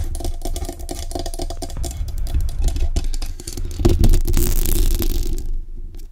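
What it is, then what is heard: Metal microphone tapped and scratched with nails. Long acrylic nails tap and scratch the grille and body of a black metal USB desktop condenser microphone on a stand. Rapid, uneven tapping mixes with scratchy rasps, picked up as boomy low thuds with a faint bright hiss. The sound swells around the middle and then thins out toward the end.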